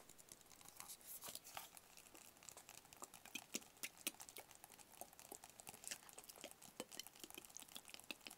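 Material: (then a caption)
Cardboard. Fingertips and nails tap rapidly on a small, hollow, rigid white cardboard product box. The result is a quiet, steady stream of crisp, bright clicks and soft crinkly ticks with almost no low end. Each tap dies away almost instantly.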